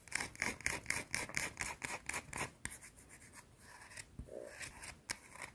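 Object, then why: Round bar of soap. Long blue-painted nails scratch the edge of a small, solid, round white soap bar. Quick, bright, rasping strokes repeat rapidly with a crisp tone around 2 kHz, then fade into softer, lighter scratches toward the end.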